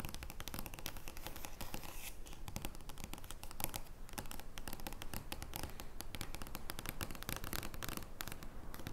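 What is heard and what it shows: Long nails scratch and tap an oversized joker playing card made of thin card stock lying flat on a wooden table. A steady, dense stream of crackly scratches and quick bright clicks sits over low, soft thumps, continuing unbroken for the whole clip.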